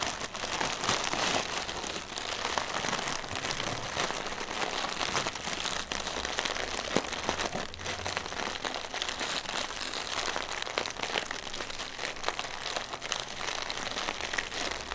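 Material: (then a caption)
Plastic film. A single hollow, air-filled plastic air pillow used as packaging is held in the hands and tapped and scratched quickly with fingertips and nails. It makes a dense, steady stream of bright crinkling, rustling taps with little low end, staying at an even level throughout.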